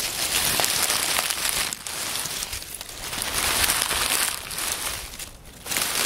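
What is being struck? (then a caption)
Pile of oak leaves. Fingers crumple and rub the fragments of a pile of dry, partly crushed oak leaves on a wooden table. The result is a dense, bright, crackling rustle concentrated in the high range, with brief quieter dips near 1.8 and 5.5 seconds before the crinkling picks up again.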